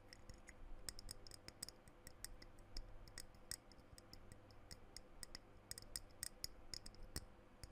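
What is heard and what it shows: A small dark blue glass perfume bottle with a silver metal cap is held close to the microphone while fingertips and nails tap and scratch its glass sides and cap. Rapid, irregular bright clicks and ticks stop almost at once over a soft, steady low background hum.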